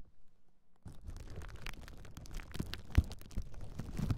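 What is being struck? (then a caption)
Plastic bubble wrap sheet. A large clear plastic bubble wrap sheet is held across the microphones while long nails scratch and press the bubbles. After a near-silent start, dense crinkly scratching and soft crackles begin just before the one-second mark and carry a low rumble. A few louder pops stand out toward the end.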